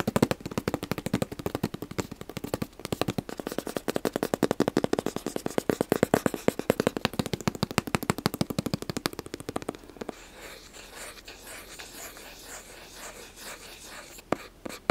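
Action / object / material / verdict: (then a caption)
tap / small cardboard gift box / cardboard / none. Fingertips and nails tap rapidly on the faces of a small, hollow black cardboard gift box with a white logo, used as sake bag packaging, held close to the camera. For about ten seconds the taps come in a dense run of crisp, short clicks with a hollow midrange body. The tapping then gives way to a softer, steady scratching hiss, with a few final taps near the end.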